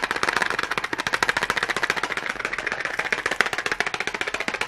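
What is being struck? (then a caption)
Cardboard matchbox. Long glittery nails and fingertips tap rapidly on the sides of a small red cardboard matchbox held close to the microphone. The clip is a steady run of quick, dry, papery clicks, each with a very short decay and no low end, bright and centered in the upper midrange.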